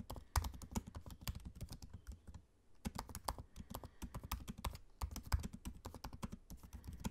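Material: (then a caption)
Plastic. Fingertips of both hands type on the low-profile black plastic keys of a space-grey aluminium laptop keyboard. Quick, soft, dull clicks and thuds run in dense bursts, with a brief pause before the typing resumes. The taps are quiet and dry, weighted toward low tones with faint bright clicks on top.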